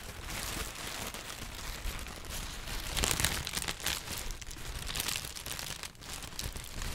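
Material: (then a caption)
Paper. A sheet of yellow-green textured tissue paper is held and crumpled with the fingertips of both hands. Dense, bright crinkling and crackling runs continuously for the whole clip, swelling louder around the middle, with a soft low rumble underneath.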